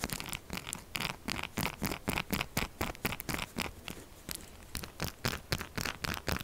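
Long acrylic nails scratch fast and hard across the scale-textured face of a solid purple soap bar. The result is a rapid run of dry, crackly scraping strokes, about two per second in an uneven rhythm. Each stroke is a short, bright burst of rasping texture that stops almost at once.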